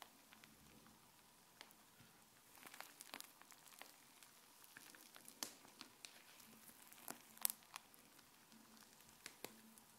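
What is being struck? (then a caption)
Fluffy slime pressed against a countertop. Fluffy white slime is stretched into sheets and then pressed down with the fingers against the countertop. It gives a quiet, crackling squish of many small, bright pops and crinkles over a soft hiss, with a few sharper snaps standing out.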